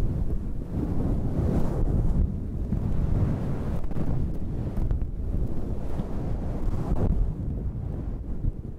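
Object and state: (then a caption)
Fur microphone windscreen being scratched. Long red nails scratch a fluffy faux-fur windscreen on a handheld black recorder, producing a dense, continuous low rumbling rustle with almost no high content. The scratching stays steady and boomy throughout, dipping slightly near the end.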